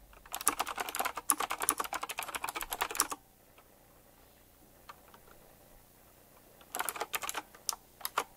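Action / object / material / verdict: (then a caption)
tap / retro mechanical keyboard with round plastic keycaps / plastic / none. Fingertips type on a retro typewriter-style mechanical keyboard with round plastic keycaps set in chrome rings, a little slower than usual. A dense run of bright, sharp key clicks lasts about three seconds, followed by a near-silent pause with a few faint taps. Then a shorter burst of clicks ends the clip.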